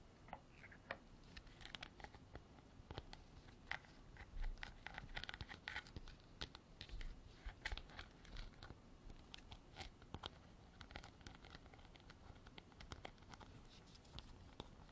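Long black artificial nails tap and scratch a hand-sized, hollow, white frosted textured hard plastic container with a white cap that appears empty. The result is a quiet, rapid stream of sharp, dry clicks and crunchy scratches with a hollow ring around 2 kHz. Each tap dies away almost instantly.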